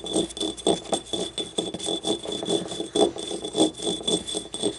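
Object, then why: Small ribbed glazed ceramic ramekin. Long nails scratch and tap along the ribs and rim of a small, hollow, yellow glazed ceramic ribbed ramekin paint cup lying on its side. Quick, irregular clicky taps with short, dry ring blend into scratchy rasps, centered in the low-mid range around 400 Hz, while a faint steady high whine runs underneath throughout.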